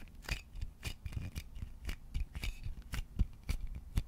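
Fingertips and nails scratch and tap the body of a hollow wooden vase close to the microphone. The result is an irregular stream of short, dry taps and scratchy rubs: soft, low thuds with brief bright clicks that die away almost instantly.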